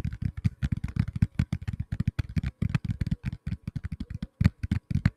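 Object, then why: Tablet in a plastic case. A black tablet in a plastic case is tapped rapidly with fingertips, giving about 35 quick, dull, low thuds with very short decay and little high-end content. The taps come in an uneven, fast rhythm like typing on a keyboard.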